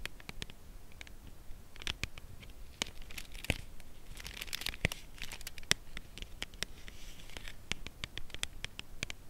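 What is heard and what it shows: A dark brown Lindt Creation Caramel cardboard box holding a chocolate bar is tapped and scratched on its side with long acrylic nails. Many short, sharp taps with bright clicky tops are heard, with soft scratching and faint crinkling between them, and the sound stops dead after each tap.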